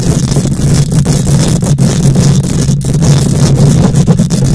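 Long nails scratch aggressively across a hollow wire-mesh metal microphone grille. The result is a loud, continuous rumbling scrape, heavy in the low end with a steady buzzy tone near 184 Hz, brief dips, and a faint bright hiss above.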